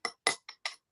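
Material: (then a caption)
Stone. Four short taps on geode rock give bright, hollow-sounding clicks that ring briefly, showing a hollow spot inside the stone. The rock is being checked for hollow spots, with drilling advised where there are already little pockets.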